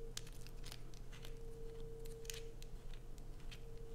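A solid blue bar of soap held in the hands is scraped with long acrylic nails, sending shavings falling. Quick, crisp scratching bursts with bright crackly edges repeat throughout, over a steady low hum and a faint constant mid tone.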